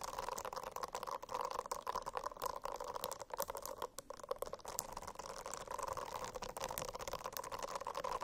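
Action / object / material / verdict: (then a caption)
scrape / silicone-covered notebook / silicone / none. Fingernails scratch across a silicone-covered notebook in a steady, continuous rasp. Steady mid-range tones are layered under dense, quick, bright scratchy ticks, with brief dips in level along the way.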